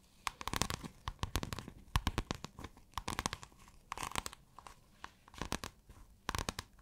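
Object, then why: Scale-textured iridescent fabric. Long acrylic nails scratch pale blue, scale-textured iridescent fabric folded flat. The result is bursts of quick, crisp scratching and clicking, bright and papery with a soft low thump beneath. The clusters come and go in irregular groups against a quiet background.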